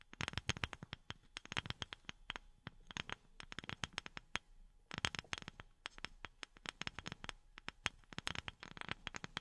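A wooden object is tapped with silicone rubber pads worn on the fingertips. Quick bursts of soft, dry, bright taps come in clusters with short pauses, each tap dying away almost instantly.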